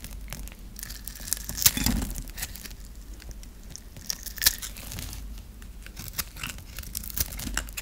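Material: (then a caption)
Soap. A flat metal blade scores and scrapes a dry, hand-held solid pink bar of soap into small cubes. Bright, crisp scraping and crackling fill the clip, broken by sharp, short snaps as pieces break away.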